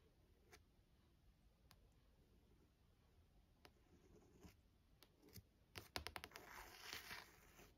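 Long nails tap and scratch the thin card front cover of a small paperback novel, "For Love of Lily," lying on a desk. About eleven soft, sharp clicks are spaced out at first and then bunch together, followed by a brighter, rustling scratch across the cover. All of it is very quiet over a low background hiss.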